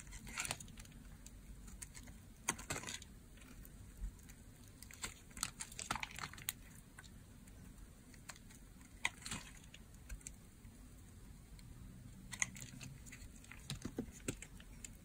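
An oval, blue marbled, solid bar of dry soap is shaved with a utility blade, scraping and cutting into it. Quiet, crisp, bright crunching scrapes and ticks come in scattered bursts over a steady low background hum.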